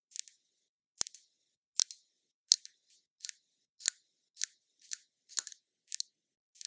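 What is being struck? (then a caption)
Small glass bottle of liquid foundation. Long nails tap and scratch a small, full glass bottle of liquid foundation held in the hand, making about a dozen quick, bright clicks at a steady pace. Each click is thin and high with no low end, and dies away almost at once.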